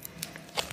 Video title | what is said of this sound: LIGHTS ASMR “SCOOP IT UP”🆙/💥/📕tapping/GLASS TAPPING / tingles in under 2 MINUTES ‼️💫💡 | I'm going to just tap this book real quick